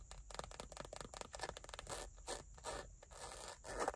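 Long nails scratch and tap across the textured surface of a small dark brown leather bifold wallet, held flat in one hand with cards inside. A quick run of dry, rasping scrapes and soft taps follows, in short bursts with brief pauses between and a slightly louder scratch near the end.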